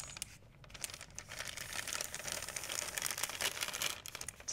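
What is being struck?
Thin plastic shopping bag.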